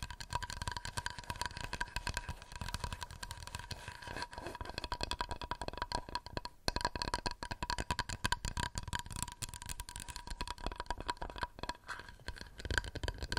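A wooden plate is tapped rapidly and continuously with fingernails, producing a dense stream of short, dry clicks and soft low knocks that die away almost instantly. A faint steady tone near 1 kHz runs underneath the tapping throughout.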